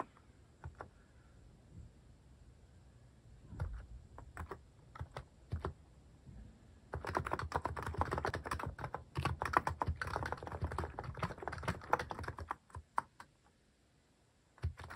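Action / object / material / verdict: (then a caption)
tap / plastic mechanical keyboard / plastic / none. Fingertips repeatedly press keys on a cream plastic-case mechanical keyboard fitted with cat and paw-shaped plastic keycaps. Scattered single key clacks give way, around seven seconds in, to a dense burst of rapid typing that lasts until roughly twelve and a half seconds. After that come a few isolated presses and a final click at the end, each a short, dry plastic tap with a soft low thump.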